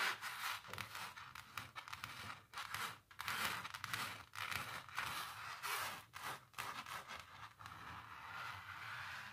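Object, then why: Painted canvas with thick textured paint. Long natural nails and fingertips scratch and rub across a large, flat painted canvas coated in thick textured paint. The result is a continuous stream of dry, bright scraping strokes that swell and fade in short bursts, with very little low end.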